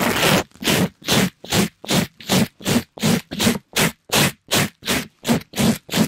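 A soft, pink glittery mesh scrub sponge is scratched and rubbed against a mic grille by a gloved hand. The result is a rapid, fairly even run of separate rough, bright scraping strokes, each a broadband hiss with a low body, about two and a half per second with short silences between.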